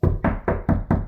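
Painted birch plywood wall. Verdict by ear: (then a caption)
Solid. Five knuckle knocks on a white-painted birch plywood accent wall inside a cabin give dull, low, solid thuds that die away quickly with little high-end ring. The sound shows the wall is solid birch plywood, not sheetrock, which holds up better when the cabin is transported because sheetrock can crack or come off the walls from the bouncing on the highway.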